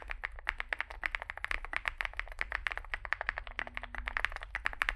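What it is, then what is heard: Mechanical keyboard with plastic keycaps. Fingertips type continuously on a Zoom65, a small 65% mechanical keyboard with a dark case and white and grey plastic keycaps. Roughly forty short, dry clacks come in a quick, uneven rhythm, each with a bright click centered near 1.8 kHz and almost no ring. A steady low rumble sits underneath throughout.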